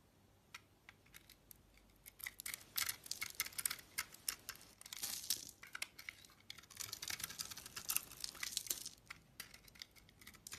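A utility-knife blade slices the outer layer off a solid, oval pink bar of soap with a cream core. The cutting gives a quiet run of crisp, bright scrapes and crackles, with sharp clicks and denser shaving bursts, mostly high in pitch with almost no low end.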